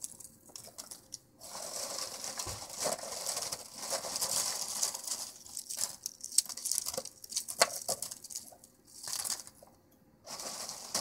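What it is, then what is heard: Dry, empty peanut shells. Fingertips and the side of a hand press and rummage through a heap of empty, split, dry, hollow peanut shells in a white container. The result is bright, dry crunching and rustling with frequent sharp clicks, broken by a few short pauses.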